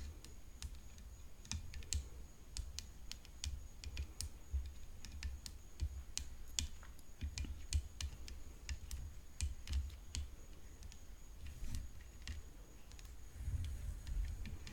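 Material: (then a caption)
Composite. Long nails tap the hollow composite frame of a rhinestone-decorated tennis racket lying on black cloth. The result is a steady run of quick, sharp, bright clicks that die away almost instantly, over a soft low rumble.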